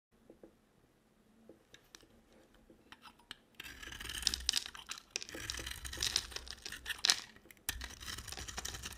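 A square, solid bar of dry white soap with a blue coating is held in a hand with long black nails and shaved and carved with a box cutter blade. Light, sparse ticks and crackles in the first few seconds give way to dense, bright, crumbly scraping and cracking as flakes come off, with a brief pause just before the end.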